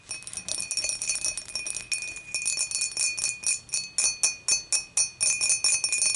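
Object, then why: Glass beer mug. Long matte nails quickly tap the sides of an empty, upright, clear dimpled glass beer mug. Rapid, bright glassy clinks ring over a steady high tone at about 2.5 kHz, with a jingly, bell-like shimmer. Each tap fades fast, and the taps come in uneven bursts.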